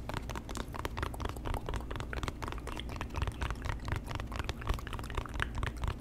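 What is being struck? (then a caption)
Small cardboard box. A small hollow white cardboard box is held in front of the microphone and tapped and scratched with the fingertips. Quick, dry taps and scratchy brushing sounds come in a steady stream, with a soft low thump under them and almost no ring.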